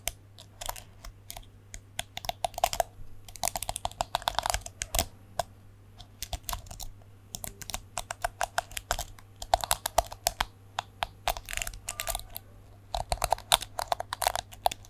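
Fingertips and nails flick the plastic bristles of a small plastic detangling hairbrush with a chrome-look back, held close to the mic. The result is rapid, dry, bright clicks and ticks in quick irregular bursts, with brief pauses between flurries. A faint steady low hum sits underneath throughout.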